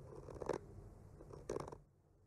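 A bamboo skewer slowly scratches and traces across the surface of a solid, flat wooden panel painted with trees. Soft, dry rasping scrapes rise into two louder, brighter strokes before trailing off into quiet.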